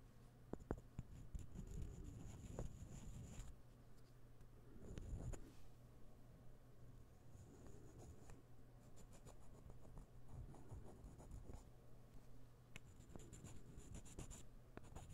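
Several interlocking solid light-wood puzzle ball pieces are held together in the hands and rubbed and clicked against each other with the fingers. Soft, dry wooden rubbing and scraping fill the clip, broken by short, sharp clicks. A faint steady low hum and an on-and-off high tone sit underneath.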